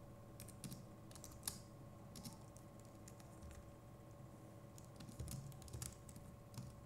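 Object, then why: Plastic computer keyboard keys. Fingertips of both hands type steadily on a compact Logitech MX Keys Mini keyboard with plastic keycaps. The result is a quiet, irregular stream of soft, short, bright key clicks over a low, steady background hum, with a few slightly louder taps standing out.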